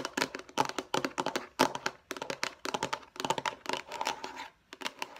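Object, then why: Plastic food storage container. Long nails tap and scratch rapidly on the sides and face of a hollow, light blue rectangular plastic food storage container. It makes a dense run of crisp, dry clicks with bright edges and a faint hollow plastic ring around 1 kHz. Each tap dies almost instantly, with almost no low end, leaving brief gaps of near silence between bursts.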